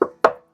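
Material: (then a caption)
Steel. Two knocks on the bare steel cab floor panel of a VW T6 van, done as a knock test before sound deadening sheets are applied. Each knock gives a hollow, mid-pitched thud that rings briefly and fades within about a fifth of a second.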